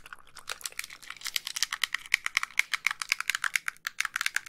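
Long pink nails tap rapidly on the screen edges and casing of a white, hollow plastic handheld game console. The result is a fast series of crisp, dry clicks, bright and thin with almost no low end. Each tap dies away at once, growing louder and more distinct as the tapping goes on.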